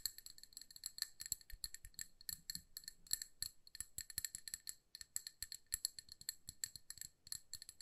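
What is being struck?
Glass candle jar filled with wax.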